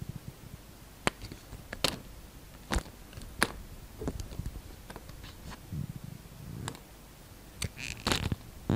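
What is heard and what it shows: A utility knife peels long, thin shavings from a solid, translucent green soap bar. The blade makes a series of short, dry scrapes and crisp cutting crackles with brief bright ticks. Each sound stops almost instantly, with soft low rustling between cuts.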